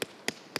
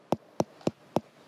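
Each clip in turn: First: Three quick, bright knocks on a melon, each snapping off at once; judged still green. Second: Five evenly spaced knocks on a melon, each a short dull thud that dies at once: a ripe fruit.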